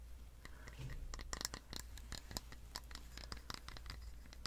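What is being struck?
Plastic slicker brush with metal wire pins.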